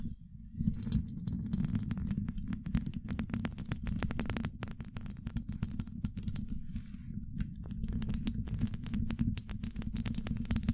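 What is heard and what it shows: Long pointed acrylic nails scratch across the rounded, hollow woven-metal mesh grille of a large condenser microphone. The sound is a dense, low, rumbling rasp laced with rapid, fine, bright crackling ticks. After a brief quiet start, it continues almost without break.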